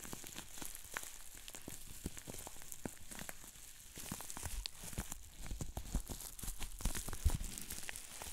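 Hands squeeze and twist a tube-like sheet of green plastic bubble wrap, popping its bubbles. Sharp, short snaps land over a constant crinkly plastic rustle and bright hiss, growing louder and more frequent toward the end, with a low thump under the bigger pops.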